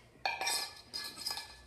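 A stainless steel cup insert sitting without its O-ring in a pylon cup holder bracket is shaken, giving a series of bright, high-pitched metallic clinks and rattles. The rattling shows a loose fit because the O-ring is missing; with it fitted, the insert does not rattle or move.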